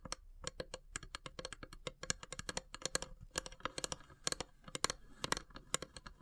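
Long grey nails tap rapidly on the carved, perforated lid of a long, narrow, hollow wooden incense box with brass elephant inlays. The taps come as a quick, uneven stream of short, dry, bright clicks that stop almost instantly with no ring. The clicks carry a faint hollow tone and sit at a soft, close level.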